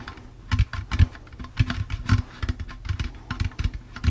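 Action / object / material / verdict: tap / plastic jack-o'-lantern candy bucket / plastic / none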